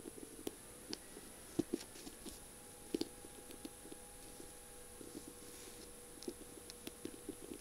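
Long purple nails tap and scratch the thin barrel of a feather pen decorated with beads and mirror tiles and topped with a pink feather. Quiet, sharp clicks and light scratches come at irregular intervals over a faint, steady background hum.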